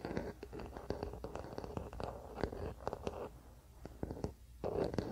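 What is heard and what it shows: A wooden paddle hairbrush lies on a blanket while fingertips tap and scratch its solid wooden back. The result is a quiet run of short, dull knocks mixed with soft, rustling scratches. The sound sits mostly in the low and middle range and stops dead after each tap.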